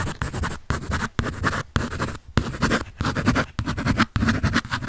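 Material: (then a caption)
Paper. A graphite pencil scratches and shades across a large sheet of white drawing paper on a sketch pad with a red back cover, held upright close to the mic. Dry, papery scratching comes in bursts of strokes separated by brief pauses, with a low, thin rasp rather than any hollow resonance.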